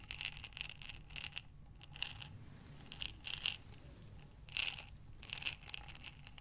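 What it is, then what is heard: Glass jar full of buttons. A glass mason jar with a metal lid, full of buttons, is rotated in both hands with long dark nails, sending the buttons tumbling inside. Bursts of bright, rattling clinks come in waves with quieter pauses between them, each click dying away almost instantly.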